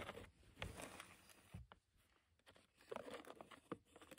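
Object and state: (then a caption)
Plastic cement sack. Long nails and fingertips scratch and tap the crinkly plastic of a dusty red and black cement bag that is opened and partly full. Soft crinkling and rustling are broken by quick, dry taps with no ring. The sound stays quiet and close throughout.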